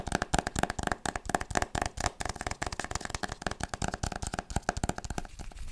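A solid hardcover book with a printed board cover, held upright, is tapped and scratched with long nails and fingertips. It makes a rapid, uneven string of sharp, dry clicks and taps with a steady tone around 720 Hz, each dying away almost at once. Brief scratchy rustles run between them, and the activity thins to a softer scratch at the end.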